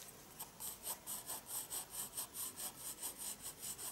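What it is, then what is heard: Pencil shading on a paper sketchbook. A pencil slowly shades across the paper of a spiral sketchbook in steady back-and-forth rubbing strokes. Each stroke makes a soft, bright, scratchy swish with almost no low end. The strokes rise and fall in a regular rhythm over a faint background hiss.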